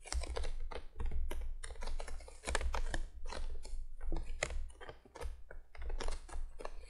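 Long fingernails on both hands tap quickly across the top of a printed cardboard box lying flat. The result is a rapid, dense patter of dry, clicky taps that die away almost instantly, heard over a steady low hum.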